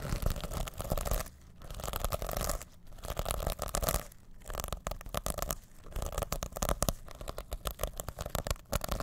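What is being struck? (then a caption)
Plastic sequin pouch. Fingertips and nails scratch and flip the rainbow and silver plastic sequins of a reversible sequin pouch held over the mic. Dense bursts of rapid crackling clicks and scrapes are heavy in the low end, broken by short pauses between strokes.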